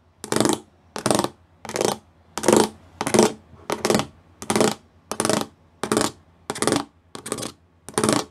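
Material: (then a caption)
Plastic. Fingertips and nails tap the small square pyramid studs covering a flat grey plastic panel. Twelve short, separate bursts of crisp, bright clicking sound at a steady, unhurried pace. Each burst has a light mid-range body and fades quickly into quiet gaps.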